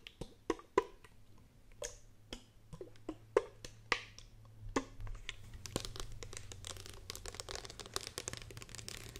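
A hollow green plastic spray bottle with a trigger head is held in the hands and tapped and scratched with long painted fingernails. Sharp, dry, irregular clicks come first, then they blur into a denser, bright scratching texture over a faint low hum.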